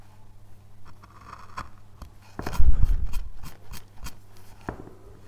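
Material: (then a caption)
Basswood. A thin steel carving knife, held in gloved hands, scrapes and cuts fine detail into the surface of a solid light-wood basswood relief panel. Soft, dry scraping strokes and short clicks sit over a low steady hum, with a louder, denser run of cutting in the middle.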